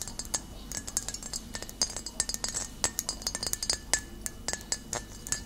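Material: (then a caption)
Glass. Long nails tap rapidly and irregularly on the thick glass base and body of a full glass bottle of cider vinegar held tilted in the hand. Each tap gives a bright, high clink that dies away almost at once, over a faint low hum.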